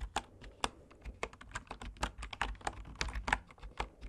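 Fingertips type steadily on the wooden keys of a bamboo wood computer keyboard. The result is a quick run of short, dry clicks with a woody knock and bright tips, each dying away almost at once.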